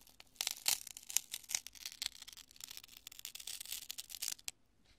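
A large chunk of cured polyurethane spray foam, solid and porous, is squeezed and crushed in both hands, with fingertips and long nails digging in. Dense, bright crackling and crunching runs for about four and a half seconds, a burst of short, sharp snaps with almost no low end, then falls quiet.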